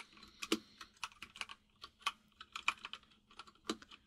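Fingertips of both hands type on a full-size mechanical keyboard with white and grey plastic keycaps and a hollow case. About 19 short, bright, clacky key taps come at an uneven typing pace, with a few louder strikes standing out, over a faint steady low hum.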